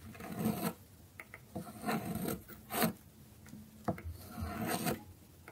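A dark metal blade scrapes and shaves the edge of a small, solid orange bar of dry soap with a stamped logo, held by hand on a wooden board. Dry, rasping strokes come in several bursts, separated by short quiet gaps, while soap shavings pile up beside the bar.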